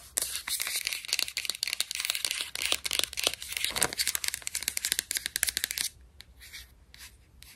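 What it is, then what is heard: Plastic vitamin bottle. Long nails rapidly scratch and tap the paper label of a white plastic supplement bottle with a purple screw cap and capsules inside. A dense run of crisp, bright, papery scratches and clicks lasts about six seconds, then drops to a few faint, softer taps to the end.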